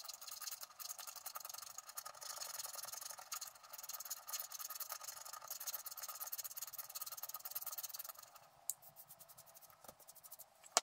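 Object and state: Wax-coated scratch art card.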